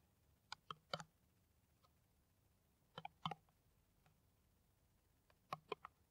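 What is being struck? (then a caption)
Plastic PET water bottle. Long nails tap an empty, hollow, clear plastic PET water bottle with a white screw cap, held in the hand. Three brief bursts of quick, dry, clicky taps sound over near silence. Each tap stops almost at once.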